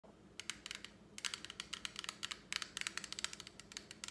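A small flat plastic lipstick palette with a clear lid, held in one hand, is tapped and scratched with long acrylic nails. About two dozen quick, bright, dry clicks come in uneven bursts over a faint scratchy hiss, each tap stopping instantly without ring.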